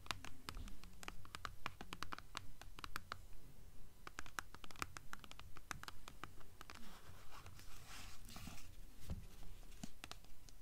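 Long nails scratch quickly and steadily along the spine and top edge of a blue hardcover book with a paper dust jacket, the book tilted to show its page edges. The result is a rapid series of short, crisp scratching strokes with bright, papery texture and little ring.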